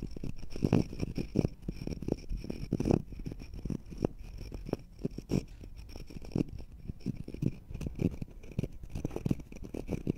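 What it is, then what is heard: Wood slice scratched with fingernails. Two matching thin, solid, round natural-wood slices with bark edges are held one in each hand above the microphones, and fingertips and short nails scratch across their flat surfaces. The result is a steady stream of quick, dry, rasping scratches with a low, woody body and no ring, rising and falling in short bursts throughout.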